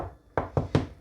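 Three knocks on a kitchen countertop that was loose and has been glued down with construction adhesive and left to set for 12 hours. Each knock is a short, dull, low thud that dies away almost at once. The solid sound shows the top is now firmly bonded.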